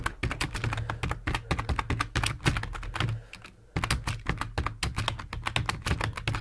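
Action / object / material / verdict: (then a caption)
tap / plastic computer keyboard / plastic / none. Fingertips of both hands type quickly on a full-size black plastic computer keyboard resting on a wooden desk. The result is a dense, steady stream of short, dry key clicks over a low steady hum, with a brief pause a little past three seconds before the typing resumes.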